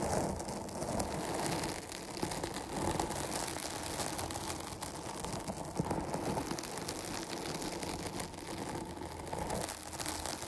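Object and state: Foam microphone windscreen being scratched.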